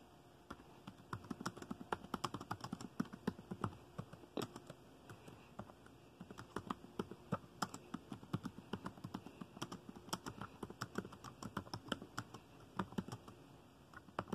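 Fingertips of both hands type continuously on the dark plastic keys of a laptop keyboard. The result is a rapid, uneven stream of short, dry clicks and taps with almost no ring, easing briefly around the middle before picking up again.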